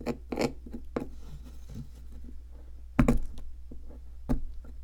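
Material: Plaster.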